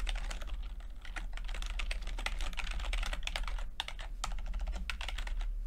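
Fingertips type on a backlit chiclet computer keyboard with plastic keycaps, producing a steady stream of quick, light clicky taps with bright, crisp edges. A constant low hum runs underneath the typing throughout.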